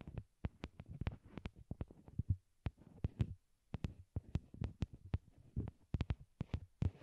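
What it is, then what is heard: Plastic earbuds tapped with fingernails. A pair of small white hollow plastic wired Apple earbuds, used as the microphones, rest on a cork board and are tapped with long glittery nails. Quick, irregular taps land close up as dull, muffled low thumps with faint bright clicks on top. Each tap stops almost instantly with no ring.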